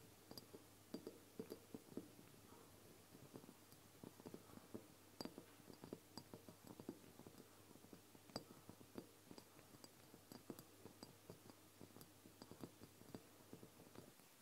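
Long blue-painted nails tap and scratch the glass sides of a medium, full-looking amber glass castor oil bottle with a green label and a black plastic dropper cap with a clear tip, held upright in both hands. Quiet, quick, dry clicks with a faint high glassy tick come in irregular bursts over a soft scratching rustle and a low steady hum, each tap dying away almost at once.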